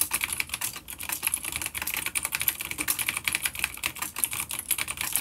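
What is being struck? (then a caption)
Plastic mechanical keyboard with clicky switches. A full-size dark grey plastic vintage mechanical keyboard with grey and dark keycaps, an older B-grade unit with vintage clicky blue switches, sits on a wooden desk and is typed on rapidly with the fingertips of both hands. The quick key taps make a steady stream of short, bright clicks with almost no low end, each dying away almost instantly.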